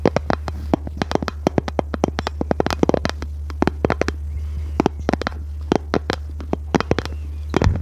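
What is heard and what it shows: Long red nails tap and scratch a small, hollow, rectangular pink plastic case, giving a fast, irregular run of sharp, dry clicks that die away at once. A steady low hum sits underneath throughout.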